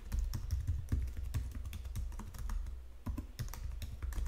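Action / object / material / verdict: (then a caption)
tap / plastic computer keyboard / plastic / none. Fingertips with long nails tap the number-pad keys and the lower edge of a white plastic Logitech full-size keyboard. The result is a quick, steady run of short, dry plastic clicks with a deep, thumpy body, broken by a brief lull just before the three-second mark.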